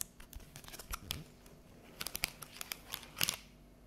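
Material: Plastic.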